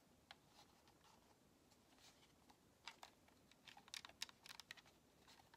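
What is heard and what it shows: Long nails tap and scratch the shell of a white, hollow plastic Xbox controller held front face forward. After faint, sparse ticks and soft scratching, about ten sharp, bright plastic clicks come in an irregular burst toward the end, each dying away instantly.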